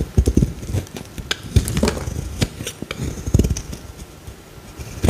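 A palm-sized solid green bar of soap is shaved along its face with a metal utility blade held in the fingertips. A quick, uneven series of short, dull scraping and cutting strokes is heard, each one low and thumpy with a faint bright scratch and almost no ring.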